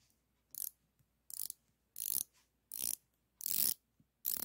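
A chrome-plated steel ratcheting combination wrench with a flex head, solid metal and about 20 cm long, is held in both hands while its ratchet head is worked back and forth. Six quick bursts of bright, dry pawl clicks come at a quiet level, each lasting a fraction of a second and separated by short silences.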